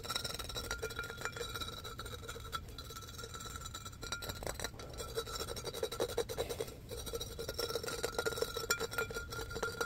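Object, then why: Embossed glass pitcher. A medium-sized, hollow, empty-looking clear embossed glass pitcher with a handle is held in the hands and tapped and scratched with fingertips and nails across its patterned surface. Quick, dense clicks and dry raspy scratches run throughout over a faint steady tone, with brief bright glassy ticks that die away almost instantly.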